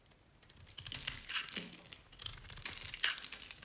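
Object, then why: Bar soap shaved with a knife blade. A utility knife blade shaves and scrapes curls off a dry, oval, cream-colored Nevskaya Cosmetics bar soap held in a hand with long nails. Irregular, bright, crisp scraping and crackling strokes carry the sound almost entirely in the high range. It has little low end and quick, dry decays.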